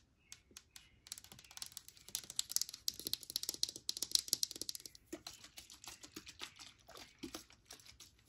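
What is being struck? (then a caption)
Plastic spray bottle tapped with fingernails. Long nails tap rapidly on a liquid-filled Suave hand sanitizer spray in a clear or white plastic bottle with a blue cap, held in the hand. The taps are sharp, bright, dry clicks that merge into a dense flurry in the middle before thinning into sparser, separate taps.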